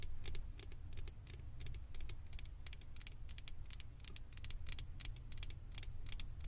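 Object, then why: Small hollow plastic figure head on a microphone. Long acrylic nails tap and scratch the ears and head of a small hollow blue plastic Stitch figure topper on a microphone. Rapid, bright, dry clicks and scratchy bursts come in quick clusters with almost no ring, over a steady low rumble underneath.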